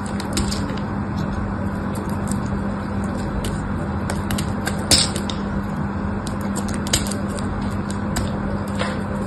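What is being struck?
Pink bar of soap.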